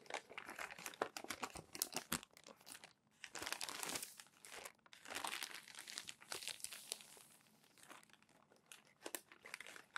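Crumpled, thin, glossy magazine pages lying on a stack are smoothed flat with open palms, then lifted and turned by the fingers. Bright, crisp crinkling and crackling come in quick bursts, alternating with longer swishing rustles as the paper is pressed and slid. There is almost no low end, and each crackle stops dry with no ring.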